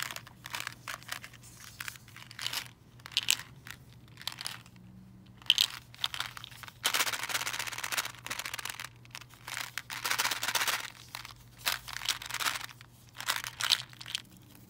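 A full, clear plastic candy-cane tube filled with candies is tapped with long nails and shaken. Quick, bright clicks and taps alternate with longer bursts of crisp, crinkly rattling as the candies tumble inside.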